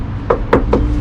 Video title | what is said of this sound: Ceramics - Metal Oxides and Fiberglass Oxidation / Chapter 3 EP 2 Corrosion Course | You tap on it and you listen to the sound where you can tell that the inside, which is the core on the inside, the main string is bad